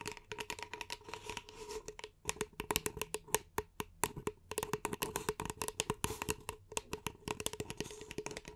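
Long nails tap rapidly on the side of an empty, hollow beige paper cup held in both hands. The result is a quick, uneven stream of sharp, short clicks with a bright edge and a faint hollow tone around 430 Hz, plus light scratchy handling noise between the taps.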